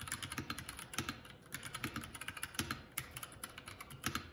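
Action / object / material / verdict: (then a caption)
tap / mechanical keyboard with plastic keycaps / plastic / none. Fingertips of both hands type continuously on the plastic keycaps of a Keycool K84 75% mechanical keyboard. A steady stream of quick, clacky keystrokes sounds, each a short, bright click over a light low thock that dies away almost at once.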